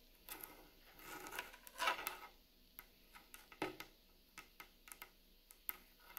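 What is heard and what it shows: Long nails tap and scratch on the top of a large, solid rustic wooden plank table, moving along the seams between the planks. Quiet, bright, dry taps with very short ring are heard, along with a louder rasping scratch just before the two-second mark.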